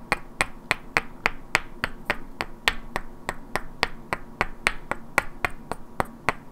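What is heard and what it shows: Two identical hand-sized solid wooden cubes with black painted characters are held in both hands and knocked and clicked against each other, while long natural nails also tap their edges. About 23 sharp, dry clicks sound at an uneven pace of roughly one per second, each with a bright peak near 2 kHz and almost no ring afterward.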